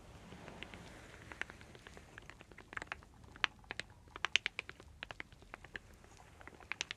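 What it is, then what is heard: Wooden slat fan. Long dark nails and fingers riffle and flick the thin solid light-wood slats of a hand-sized folding fan held in both hands, making the slats clack against each other; a wooden bowl and cup nearby are left untouched. Quiet, dry, bright clicks with almost no ring come in an irregular scatter of about 20 hits over a faint hiss.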